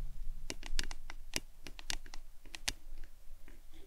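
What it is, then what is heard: Plastic tumbler cup tapped with fingernails. Long acrylic nails tap and scratch a hollow printed plastic lemonade tumbler cup held upright in both hands. Quick, sharp, bright clicks come in an irregular patter, each dying away almost instantly, over a soft scratchy texture and a faint low hum.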